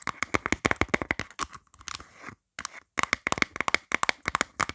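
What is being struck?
Plastic phone case.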